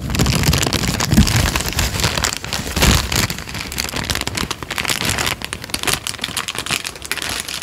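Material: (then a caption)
Paper. A thin, partly torn peach paper sheet is crinkled, folded and ripped by hand. It gives a steady, dense crackle of bright, papery rustles over soft low thumps, with a louder burst just before the 3-second mark and slightly quieter crinkling after.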